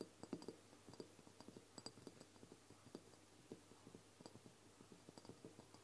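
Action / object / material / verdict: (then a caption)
tap / small glass dropper bottle holding oil / glass / none. Long blue nails tap and scratch the sides of a medium brown glass dropper bottle of castor oil, which holds liquid and stands on a wooden table. The result is a quiet, irregular series of short, dry taps with a low-mid glassy tone and very little ring, mixed with faint scratching and occasional bright clicks.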